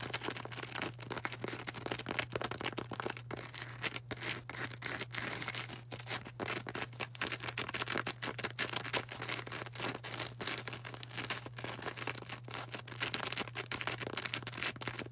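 A solid, palm-sized white polystyrene foam ball is tapped and scratched with long orange acrylic nails. The result is a steady stream of quick, dry, bright scratching and clicking with fast-fading attacks, over a constant low hum throughout.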